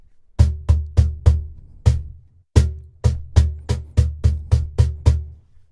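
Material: Wood.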